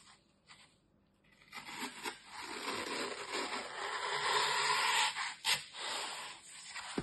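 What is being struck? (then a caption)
Green floral foam block scraped with a metal knife. A metal utility knife scrapes and carves the top edge of a large, solid, dry green floral foam brick held by hand. After a faint start, a dry, crisp, bright rasping scrape builds and runs almost continuously, then ends with two sharper scraping bursts.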